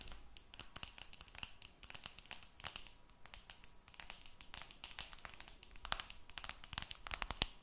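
Long nails scratch and tap on the silver aluminum back of a smartphone held close, producing a dense stream of short, bright clicks and crinkly scraping. The sharp transients stack up rapidly with little ring, over a faint low hum.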